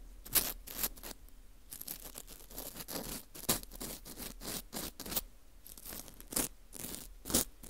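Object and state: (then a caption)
Dried wheat gluten ring (fu) scraped. A green plastic scoop scrapes inside the hole of a porous dried wheat gluten ring (fu). Bursts of dry, crisp, bright scratching and rasping repeat in quick strokes, with short pauses between them.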